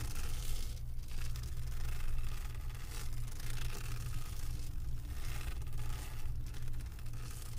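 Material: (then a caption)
Resin. Long acrylic nails scratch back and forth over the bumpy surface of a flat diamond painting made of resin drills on a canvas board. The result is a continuous, dense scratchy rustle with a strong low rumble underneath and brief bright bursts of scraping.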